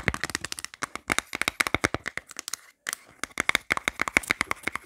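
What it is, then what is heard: Plastic phone case tapped with nails. Long black nails rapidly tap and scratch the inner surface of an empty, hollow, light grey plastic phone case. About thirty sharp, bright plastic clicks ring out in quick succession with scratchy texture between them. The tapping pauses briefly just before the three-second mark, then resumes.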